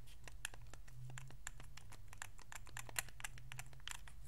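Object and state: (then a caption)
Plastic game controller buttons clicking. Thumbs quickly click the d-pad, sticks and face buttons of a white Xbox 360 controller made of hollow hard plastic. A rapid run of short, dry, bright plastic clicks plays over a steady low hum, all at a soft level.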